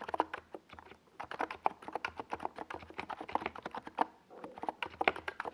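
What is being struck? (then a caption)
Plastic mechanical keyboard with tall SA keycaps. Fingertips of both hands type on a compact 68-key NiZ Plum Atom 68 mechanical keyboard with a white plastic case and tall purple and yellow Domikey Gas Attack SA plastic keycaps, resting on a desk pad. A steady stream of short, clacky midrange taps with very quick decay is heard, with brief lulls around one second and just after four seconds.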